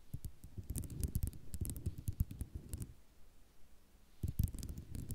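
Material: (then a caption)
Ceramic. Long nails tap and scratch on a flat sheet of small white ceramic mosaic tiles, making quick, clicky taps mixed with soft scraping and rattling. Dense bursts of clicks run for about three seconds, ease into quieter scratching, then pick up again near the end.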